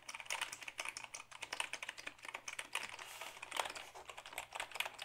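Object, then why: Plastic computer keyboard. A black Dell keyboard of hollow plastic is held up and typed on with the fingertips. The result is a quick, uneven run of dry, bright plastic clicks with almost no low end and no ring after each keystroke.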